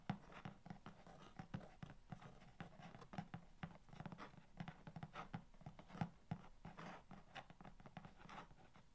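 Long nails quickly tap and scratch the top surface of a long, hollow corrugated cardboard box. A rapid, uneven patter of short, dry taps mixes with soft scratching, over a low hollow resonance near 195 Hz.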